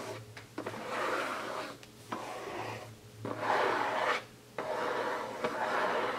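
Fingertips scratch and rub the lid and edges of a closed, hollow, printed cardboard gift box resting on a table. Dry, papery rasping comes in several long strokes separated by brief quiet gaps, centred in the mid range with a bright edge and faint sharp ticks where a stroke starts.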